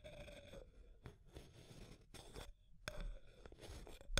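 Long nails scratch and tap along the wall of a small, clear, hollow plastic tube container with an aluminum screw lid and pink contents. Soft, scratchy strokes alternate with brief, sharp taps over a low background rumble, and a faint ringing tone near 600 Hz drifts through the quiet scraping.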